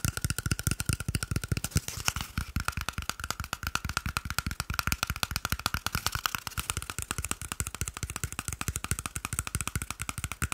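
A small, hollow, empty cardboard toilet paper tube is held in one hand while the fingertips and nails of the other hand tap and scratch it fast. The result is a rapid, steady stream of short, dry, hollow taps with a low thump and a bright, papery scratch over the top, each tap dying out almost instantly.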